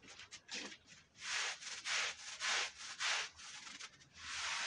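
A long-handled push brush scrubs a red woven wool Persian rug that is wet with brown, dirty foam. Five loud, bright, wet swishing strokes stand out between softer scrubbing, each a broad, hissy rub with a quick fade.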